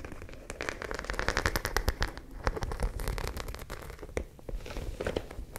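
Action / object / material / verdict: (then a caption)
scrape / studded fabric pouch / fabric / none. A white studded zippered fabric pouch is held beside the mic while long nails scratch and tap across its studs. The result is a dense run of quick crackling clicks and dry scratches over a low rumble, with bright ticks that flare and fade throughout.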